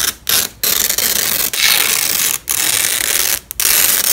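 A yellow and black nylon hook-and-loop velcro strap, one end held in a black-gloved fist, is peeled apart along its length. It gives a bright, crunchy, ratchet-like crackle in several loud tearing bursts separated by brief pauses. The sound is almost entirely high-pitched, with virtually no low end.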